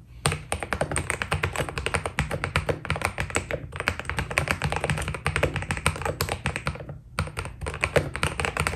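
Fingertips type steadily on a white Keydous NJ80 mechanical keyboard with PBT plastic keycaps, producing a rapid stream of short, crisp key taps with a low thocky body. The typing pauses briefly twice before resuming.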